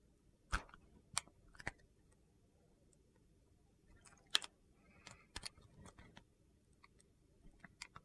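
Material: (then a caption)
Glycerin soap. A utility knife blade shaves slices off a solid, translucent purple glycerin soap bar held in the hand. About nine short, crisp, bright cuts land at irregular intervals over a quiet background, each snapping off almost instantly.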